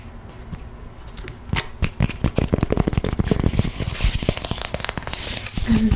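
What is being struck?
EVA foam mat tile.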